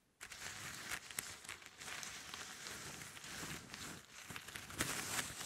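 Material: Plastic.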